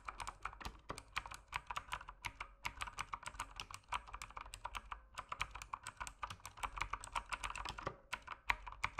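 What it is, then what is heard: Plastic mechanical keyboard. An RGB mechanical keyboard with plastic keycaps is typed on rapidly with the fingertips. It gives a dense, steady stream of short, sharp clicks and clacks, each dying away almost instantly, with a bright top and a midrange core around 1 kHz.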